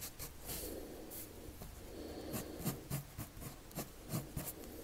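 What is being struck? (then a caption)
Colored pencil on drawing paper. A red colored pencil draws long strokes across a sheet of flat white drawing paper. Steady scratching and rubbing comes with bright, grainy bursts at an uneven pace, over a soft low rumble.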